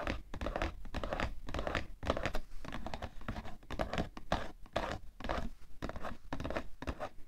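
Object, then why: Cardboard tissue box. Fingernails rapidly tap and scratch the side panel of the same cardboard tissue box, making dense, dry, papery scraping and tapping with a low, hollow body and almost no ring. The bursts run continuously for the whole clip, rising and falling in quick clusters.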